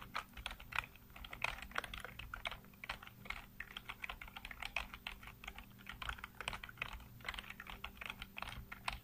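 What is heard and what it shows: Fingertips type rapidly on a full-size black plastic computer keyboard with blue backlight, producing a continuous stream of quick, bright key-press taps. Each tap is short and dry, with no ringing. A faint, steady low hum sits underneath.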